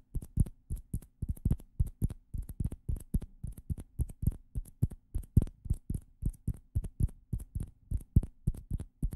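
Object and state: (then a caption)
Plastic ping pong balls tapped. Two small hollow orange plastic ping pong balls, held in the fingers close to the microphones, are tapped and rubbed with the fingertips. About 48 soft, dry, muffled taps come in an uneven rhythm, mostly low and thumpy with faint bright clicks on top. Each tap dies away instantly with no ring.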